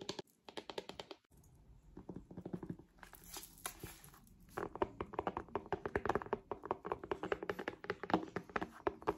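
Long acrylic nails tap rapidly on the back and cover of an iPad-sized tablet in a solid purple plastic/faux-leather folio case held upright. The taps are quick, dry and clicky with a mid-pitched hollow knock, broken by a quieter scratchy stretch midway before the tapping picks up again more densely.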